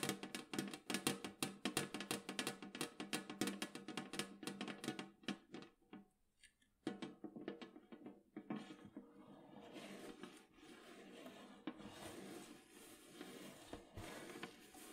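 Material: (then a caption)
Metal. Long acrylic nails tap quickly on the printed lid of a large, round, hollow metal cookie tin lying flat on a table, making crisp clicks with a short, hollow metallic tone around 300 Hz. After a brief near-silent pause around six seconds, the taps come back sparser. They then give way to a steady, bright scratching texture for the rest of the clip.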